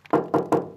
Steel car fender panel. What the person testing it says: That's tinny sound. It means it's nice and solid.